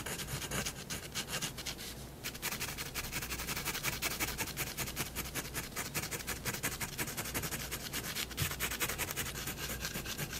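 A fineliner pen tip makes dense, quick hatching strokes on white drawing paper resting on a wooden desk. Its rapid, uneven rubbing and scratching carries a bright, papery hiss, easing briefly around two seconds before continuing steadily to the end over a faint low hum.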